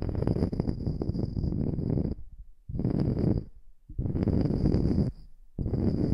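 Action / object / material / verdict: scrape / wooden slice coaster / wood / none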